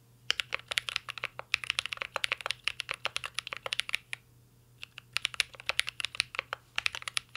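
Fingertips of both hands type steadily on a mint green Cyberboard R3 mechanical keyboard with a metal case and plastic keycaps. Dozens of sharp, bright clacks with almost no ring pour out in quick bursts. The typing pauses for about a second midway before resuming.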